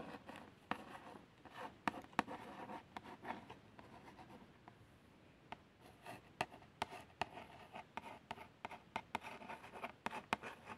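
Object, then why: Small printed cardboard box. A long nail and fingertip trace the printed lettering on a small, hollow cardboard box of plasters. Soft, papery scratching and rubbing strokes are broken by sharp, bright ticks. The sound is quiet and dry, with almost no low end.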